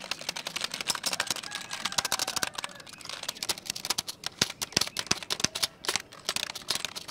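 A black plastic computer keyboard, held at the shoulder, is typed on and tapped with fingertips. The result is a rapid, uneven stream of sharp, bright plastic clicks and taps that stop almost instantly, with very little low end.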